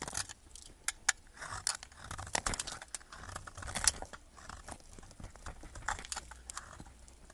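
A metal knife blade carves a solid yellow bar of soap held in the fingers, cutting off chunks and curls. The cuts make crisp, bright scraping and crackling crunches in quick, uneven bursts, each dying away almost at once, with little low end.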